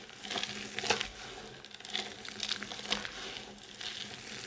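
Solid dry soap chips and crumbs from a pile of shavings are gathered and crushed between the palms and fingers, then rubbed and stirred by hand on a white surface. The result is a dry, bright, crackly crunching with a sizzling hiss, swelling into short gritty bursts roughly every second over a steady rustle.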